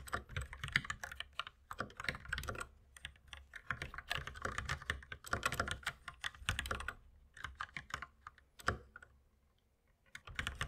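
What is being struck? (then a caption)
Plastic mechanical keyboard. Two hands type with their fingertips on a compact white mechanical keyboard with plastic keycaps. Rapid, bright clacking keystrokes come in bursts, each with a short, dry click and a low thud beneath it. Brief pauses fall between runs, and a longer near-silence comes just before the final flurry.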